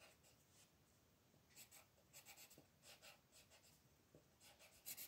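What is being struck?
Thin paper page rubbed by a colored pencil.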